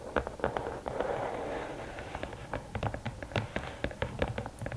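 Long nails tap quickly on the lid top of a closed, hollow red and black rigid cardboard gift box. Each tap is a short, dry click with a hollow midrange knock around 480 Hz that dies away almost at once. The taps come in an uneven, rapid run over a soft rushing background.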